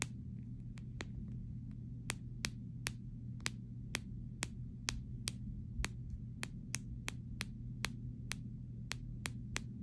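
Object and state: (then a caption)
Clear plastic phone case. Fingernails tap the back panel of a clear plastic phone case resting on fabric, making around twenty short, bright clicks that die away almost instantly. A steady low hum runs underneath the whole time.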